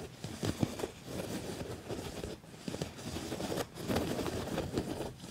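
Fingernails of both hands scratch across the padded, ribbed surface of a black quilted leather jacket. The result is a dense, continuous scratchy crackle, mostly low and mid in tone, with brief pauses around 2.4 and 3.6 seconds before the scratching picks back up.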